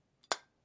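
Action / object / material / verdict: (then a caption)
tap / metal liquid line filter drier / metal / solid. An adjustable wrench taps once on a metal liquid line filter drier. It makes a short, dull thud that dies away almost at once with no ringing, which shows the drier is solid inside.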